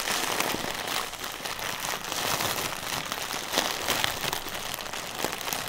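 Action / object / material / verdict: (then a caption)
tap / inflated plastic air pillow / plastic film / none. A single hollow, air-filled plastic air pillow from packaging material is rapidly tapped with fingertips and scratched with nails across its film. The result is a dense, steady crinkling and crackling texture that is bright and high with very little low end, and short ticks keep overlapping through the clip.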